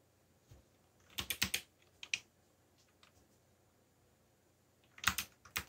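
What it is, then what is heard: Plastic mechanical keyboard. Fingertips tap keys on a backlit mechanical computer keyboard with black plastic keycaps. Short, bright, clicky keystrokes come in quick bursts, a cluster near the start, a couple more after, then another flurry at the end, with quiet pauses between. Each tap is crisp and dies away almost instantly.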